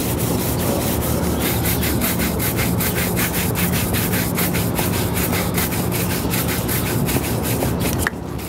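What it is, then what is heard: Leather boot being brushed. A polished, solid brown leather ankle boot, worn on a foot at an outdoor shoe-shine stand, is vigorously brushed with a wooden-backed bristle shoe brush. Rapid, continuous scrubbing strokes make a steady rough swishing with bright bristle rasps over a constant low rumble. The brushing eases off near the end, and the sound drops to a quieter hiss.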